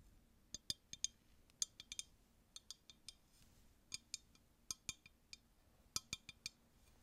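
A clear, empty, hollow glass tumbler is held in both hands and tapped with long nails. About twenty quick, bright clinks come in irregular clusters over a quiet, faintly humming background. Each tap is sharp and high with almost no ring.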